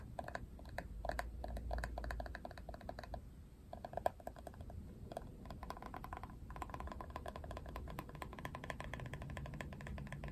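Long nails tap and scratch across the printed plastic back of a plastic paddle hairbrush held by its handle. The result is a quiet, dry stream of quick clicky taps with a mid-range plastic tone, mixed with soft scratching and a low background rumble.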